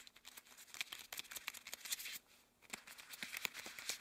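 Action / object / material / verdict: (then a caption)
scrape / rubber gloves / rubber / none. One gloved hand rubs and slides over the back and fingers of the other, both wearing long cream rubber gloves. It makes soft, bright squeaks and crinkly rubbing bursts with almost no low end, and the sound pauses briefly before the friction starts again.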